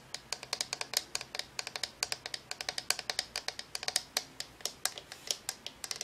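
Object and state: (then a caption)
Plastic lamp shade tapped with nails. Long nails tap rapidly on the shade of a hollow, cylindrical, translucent plastic LED lamp held in both hands as it glows blue, purple, then pink. Around forty quick, dry clicks follow in an uneven, steady stream, bright and hollow-toned with almost no low end and no ring after each tap.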